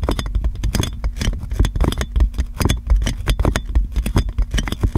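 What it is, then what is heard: Plastic cling film on a microphone, scratched. Clear plastic cling film wrapped around a metal microphone is crinkled and scratched by fingernails, producing a dense stream of close, crackling rustles and scratches. The sound is heavy in low-end thumps from the handling, with quick, dry bursts that fade almost immediately.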